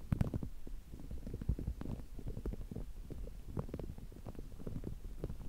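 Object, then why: Soft rubber spiky massage ball. A small, soft, palm-sized green spiky rubber massage ball is held in both hands in front of the microphone while fingertips and nails scratch and squeeze its spikes. The result is a steady stream of quiet, low, muffled rubbery squishes and crackles with short, dry taps and no ring, almost all of it deep in the low range.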